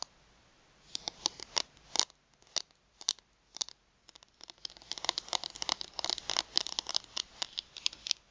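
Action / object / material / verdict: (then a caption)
tap / thin plastic card / plastic / none. Long nails tap and scratch the edges and face of a thin plastic gift card held upright in both hands. Sharp, bright, high-pitched clicks come in sparse clusters at first, then grow denser and faster with light scratching in the second half. Each click is dry and dies away instantly.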